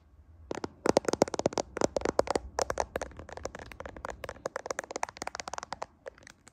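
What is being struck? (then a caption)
Smartphone with glass back and metal frame. Fingertips and nails scratch and tap the camera lens cluster and glass back of a handheld iPhone-style smartphone with a metal frame, seen in a mirror. Rapid, irregular sharp clicks and scratchy crackles, roughly four per second, spread from a low midrange tone into bright highs. Each tap is dry and stops instantly with no ring.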